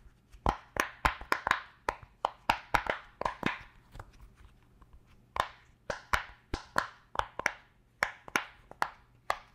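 Fingertips and nails press, pop and tap the hollow bubble domes of a round purple silicone pop-it fidget toy. About 25 short, sharp pops and taps come in uneven bursts, each a dry click with a hollow midrange tone around 800 Hz and a bright edge. Each one dies away almost instantly.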